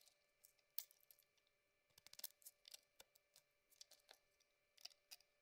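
A cream soap bar with a rose-gold coating, held in the hand, is cut and scraped with a metal blade. Quiet, crisp, bright scratching clicks and short scrapes come in an uneven series, with a few quick clustered bursts, each dying away almost at once over a faint steady background hum.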